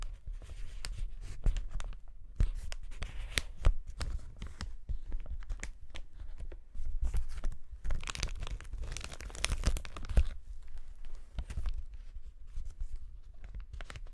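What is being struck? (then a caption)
Polyethylene air cushion packaging sheet. A clear polyethylene air cushion packaging sheet, an air pillow sheet, is held close and scratched and pressed by fingertips. It makes continuous dense crinkling and crackling with soft low thumps from the pressing. A brighter, busier stretch of crinkling comes in the middle before it settles back to quieter scratching.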